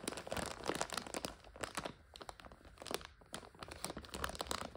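A full 400 g plastic bag of dry egg noodles is squeezed by hands and scratched with long nails. It gives off a steady run of sharp, bright crinkles and crunches with brief quieter gaps.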